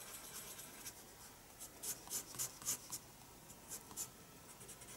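A pencil makes hatching strokes on the paper of a spiral sketchbook. Quiet, bright scratchy strokes come in short bursts over a soft steady hiss, with about eight clearer strokes standing out.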